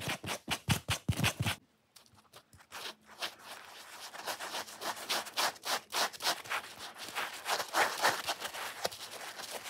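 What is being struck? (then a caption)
Foam kitchen sponge. A wet, soapy watermelon foam kitchen sponge is rubbed and squeezed by fingers while nails scratch its wet foam surface. The result is fast, irregular bursts of bright scratching and squelching. Loud rapid strokes come first, then a brief near-silent pause, then a steady run of quicker, softer scratches.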